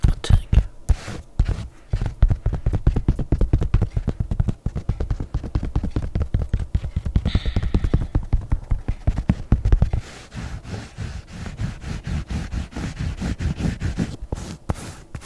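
Long nails tap and scratch across an empty grey knit-textile sneaker with a white foam sole, held sideways. A rapid run of short, dull, low thuds is heard, with the fabric scratching softer and quieter in the last few seconds.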